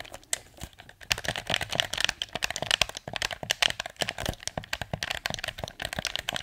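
Thumbs and fingertips press the buttons and tap the touchpad and shell of a hollow blue plastic PS4 controller held in both hands. A rapid, uneven run of dry, bright plastic clicks and taps follows, each one dying away instantly, with a crinkly edge centered around 3.2 kHz and almost no low end.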